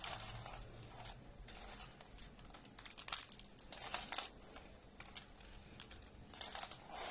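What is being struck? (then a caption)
Thin soap flakes. A pile of thin, dry orange soap slices is broken and squeezed into small crumbs by both hands. Dense, dry crinkling and crunching crackles with bright, high-pitched snaps come in quick bursts over a low background hum. The crushing leaves the flakes as small crumbs.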